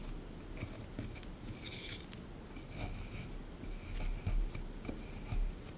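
A small pointed plastic digging tool, held in the fingertips, scrapes and scratches loose crumbs away from a hard, solid beige plaster block set in a shallow green tray. Quiet, irregular gritty rasps and bright crumbly scratches come in short bursts over a low, dull rumble.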